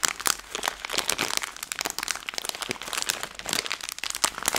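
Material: Plastic film.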